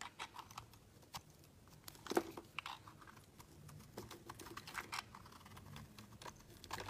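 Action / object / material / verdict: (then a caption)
scrape / bar of soap scraped with a metal blade / soap / none. A solid, opaque pink oval bar of soap held in the hand is carved and scraped with a utility knife blade, shaving off flakes. Short, dry, crisp scraping and cutting strokes tick and crunch one after another over a quiet background, with one louder, sharper cut near the two-second mark.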